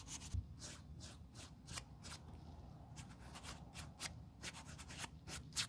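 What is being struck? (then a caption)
Leather boot toe cap. During restoration, a small tan sanding block or sponge held in gloved fingertips scratches and rubs the toe cap of a black leather Blundstone Chelsea boot, hollow with a thick rubber sole. The result is a series of short, dry, bright scraping strokes in quick bursts, with a low, steady rumble beneath them.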